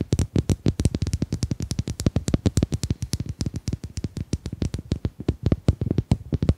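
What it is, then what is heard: Domino tiles. Domino tiles are tapped in a quick, steady run of about 49 short, dry taps over nearly seven seconds. Each tap is a brief knock with a low, thumpy body and a faint bright click, dying away almost instantly.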